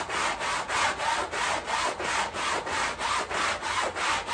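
A long-handled stiff bristle broom scrubs a small soapy fabric rug on tile with up-and-down strokes. A rapid, steady run of rough, scratchy swishes follows, about three per second with brief dips between them. The wet bristle noise is concentrated in the mids with a bright hiss on top.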